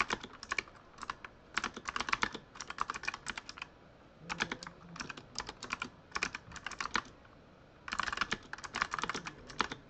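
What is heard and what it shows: Fingertips of both hands type continuously on a full-size Razer Huntsman mechanical keyboard with RGB-lit plastic keycaps. Crisp, bright plastic clacks come in quick bursts with short pauses between them. Each keystroke dies away almost instantly, with very little low end.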